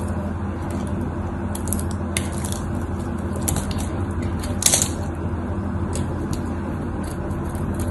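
A knife blade carves small cubes off the surface of a solid cream-white bar of soap held in the hands. Crisp, bright cutting and scraping ticks come at irregular intervals over a steady low hum, with the loudest, sharpest cut near the middle.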